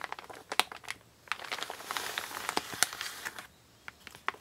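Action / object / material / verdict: scrape / empty kraft paper mailer bag / kraft paper / none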